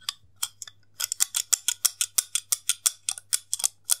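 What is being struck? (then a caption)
Plastic slim case with snap lid. Fingertips press and click the lid and catch of a hollow, white plastic slim case with a snap lid, held horizontally in both hands. About twenty small, sharp, bright plastic clicks come at an uneven pace over four seconds, each dying away almost at once, over a faint low hum.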